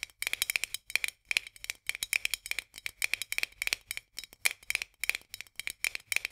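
Long nails tap rapidly on the edge of a white metal lid on a full glass jar. The result is quick bursts of dry, bright clicks with a faint metallic ping near 2.4 kHz, each tap dying away at once, separated by brief pauses.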